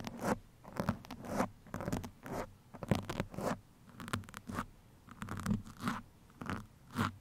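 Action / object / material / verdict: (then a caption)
scrape / foam microphone windscreen / foam / none. Two metal pins held in the fingertips scratch across a black foam microphone windscreen. The result is a series of short, rasping scratch bursts with a low, muffled body and a brighter, airy edge, separated by brief quiet gaps.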